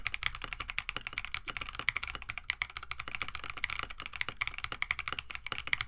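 A compact 65% KBD67 Lite mechanical keyboard with a plastic case, FR4 plate, PBT keycaps and stock Oolong switches sits on a desk mat while both hands type rapidly with the fingertips. The result is a quick, steady stream of short, sharp clacks, bright and centered around 2 kHz, with little low end and almost no ring after each key press.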